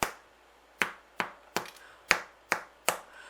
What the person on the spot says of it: you get that hollow sound that means it's ready